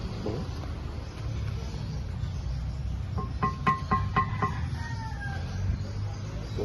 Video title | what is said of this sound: Vlog 04 - 🇵🇭 Vigan et le défilé du festival des fleurs | de là dire que ça sonne du métal je sais pas ça sonne poterie